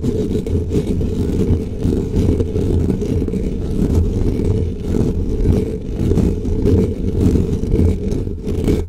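Fingertips of both hands quickly scratch and rub a soft, porous black foam windscreen covering a desk microphone. The result is a continuous, dense, muffled scratching and rumbling, heavy in the low end with almost nothing bright, pulsing slightly with the rapid strokes for the whole clip.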